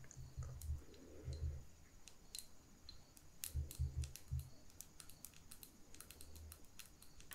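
Long nails tap and click on the glass sides of a small lit candle jar with wax in its lower part. The result is quiet, quick, dry clicks with bright high ticks over a low thumpy body, coming in short irregular bursts.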